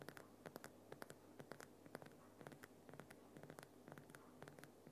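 Fingernails of both hands scratch and tap the uneven surface of a large, solid lump of glowing pink Himalayan rock salt on a salt lamp. A steady run of quick, dry, bright clicks and taps mixes with soft scratching rasps over a faint low hum. Each tap dies away almost instantly with no ring.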